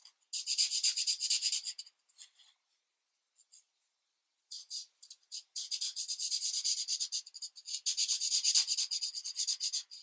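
A marker tip rubs across a thin paper coloring book page lying flat on a desk in continuous coloring strokes. The result is a bright, high, dry scratching hiss with no low end, coming in quick back-and-forth bursts. A near-silent pause with only a few faint strokes separates an opening run from a longer, denser stretch of coloring.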